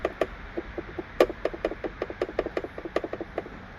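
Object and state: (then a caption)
Rattling car coat hook. Pushing on the coat hanger hook mount near the headliner in the back of a car makes it rattle in a rapid series of about 15 short, dry clicks over four seconds, centred around 500 Hz. This is the annoying rattle heard from the rear while driving, first suspected to be the headliner. The hook is not really loose; it is made that way at the factory.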